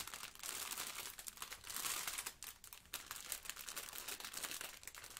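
Yellow rubber-gloved fingers hold and squeeze a small, soft, rectangular blue sponge in a clear plastic film wrapper, with a plastic apron possibly adding some crinkle. Dense, bright crinkling and scratching of the wrapper runs throughout at a quiet level. It dips briefly around the middle before picking up again.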